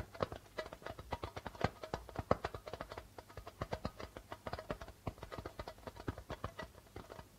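Fingertips and nails of both hands tap rapidly on the white plastic membrane of a hollow darbuka drum, producing dozens of quick, dry taps. Each tap is a short, hollow knock centered around 520 Hz with some low thump beneath it. The taps die away almost instantly with no ring.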